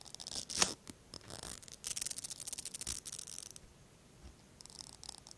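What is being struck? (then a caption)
Plastic mascara tube and bristle brush wand. The bristle brush on the thin wand of a small pink plastic mascara tube is drawn through the fingertips, making soft, bright scraping and brushing sounds with almost no low end. Short crisp bristle flicks and a sharper snap early on build into a dense run of scratchy strokes, then fade to near silence before light brushing resumes at the end.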